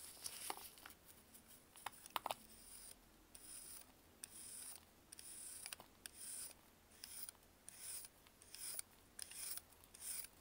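A hand-sized, partly purple-coated block of compressed baking soda, held in a blue-gloved hand over loose powder, is carved and scraped with a metal knife blade. Dry, bright rasping strokes come in short bursts, with crisp clicks and crunches as pieces cut away. Quiet gaps fall between strokes, and there is almost no low-end weight.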